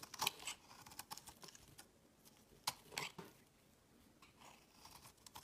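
A solid, rounded green bar of soap held in the fingers is carved and scraped with a metal blade, and its shavings fall onto a woven mat. The quiet, bright, crisp scrapes and sharp clicks come in an uneven series, with a few louder strokes standing out. There is little low end and almost no ring.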